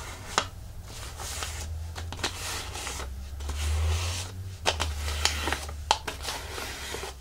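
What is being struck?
Thin plastic artificial leaf.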